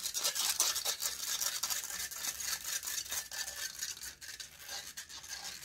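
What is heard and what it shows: Long fingernails scratch and rub the hollow metal mesh grille of a silver condenser microphone while the other hand holds its body. The result is a rapid, uneven run of bright, hissy scraping strokes with almost no low end, easing slightly in loudness toward the end.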